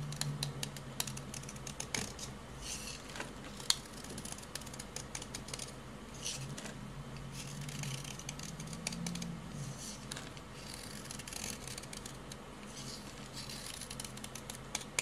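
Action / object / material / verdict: scrape / hard bar soap cut with a utility knife / soap / none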